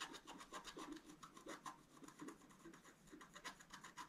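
A wooden stylus scratches fine strokes through the black coating of a flat scratch-art card, exposing the colored foil layer beneath as the card lies flat on a table. Quiet, rapid, raspy scratches repeat in quick succession, with a dry midrange grain around 1.2 kHz and a bright hiss on top.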